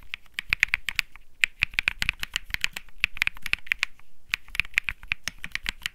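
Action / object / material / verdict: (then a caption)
tap / mechanical keyboard with plastic keycaps / plastic / none. Fingertips of one hand type steadily on the white and peach plastic keycaps at the left corner of a white Think 6.5 mechanical keyboard with Bsun Lollipop switches. The result is a rapid, uneven stream of crisp, bright clacks centered around 2.4 kHz, each stroke dying away almost instantly, with a light low thump under the louder presses.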